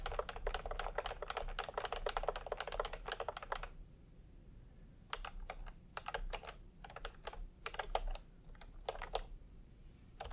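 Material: Plastic.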